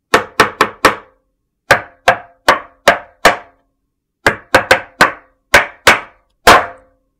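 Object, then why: Large soap slab. A large, flat, solid white soap slab is struck repeatedly with a metal meat tenderizer mallet, leaving dents. Sixteen sharp knocks land in four uneven groups. Each is a short, dull thwack with a midrange body around 680 Hz and a quick decay.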